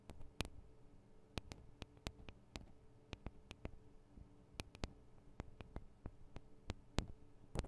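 Long acrylic nails tap on the small metal microphone capsules of a Tascam DR-40 recorder, producing around two dozen sharp, bright clicks that stop almost instantly. The taps come at an uneven pace over a quiet background with a faint low hum.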